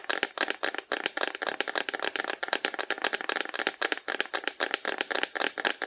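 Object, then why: Painted cardboard dinosaur figure. Long nails tap and scratch along the body of a hollow painted cardboard dinosaur held sideways in both hands. The result is a rapid run of about 29 short, dry, clicky taps with a papery scratch between them. The sound is bright, centred around 1.6 kHz, with no low end and almost no ring after each hit.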